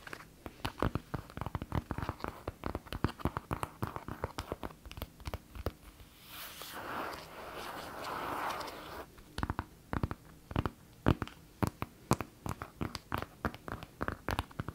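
A tablet in a closed white synthetic leather folio case is held in both hands while long nails tap and scratch its front cover. Quick, dry taps come in dense clusters, with a softer, steady scratching stretch in the middle before the tapping resumes.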